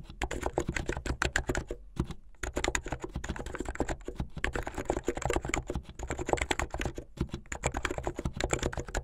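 Fingertips with long painted nails type fast on a full-size plastic mechanical keyboard with white and blue plastic keycaps, hollow keycaps on switches, and a blue backlit case. A dense stream of quick, short clacks with a deep thocky body and some bright click runs almost continuously, broken only by a brief pause near the two-second mark.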